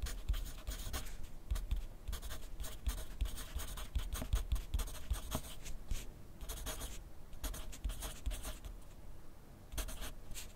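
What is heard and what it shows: A graphite pencil scratches across a thin lined paper pad lying flat on a desk in steady writing strokes. Bursts of dry, bright scratching come in quick strokes with short pauses between them, over a low, dull thud from the pad. The level stays fairly even throughout.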